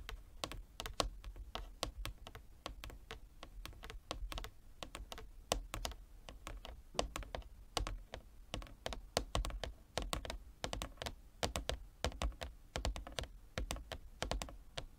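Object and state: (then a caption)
Wooden chess board. Fingertips and nails of both hands tap a large, flat, inlaid wooden chess board in a quick, uneven patter of dozens of short, dry taps. Each tap has a soft low thud beneath a bright, crisp click and dies away almost at once, sounding much like rapid typing on a keyboard.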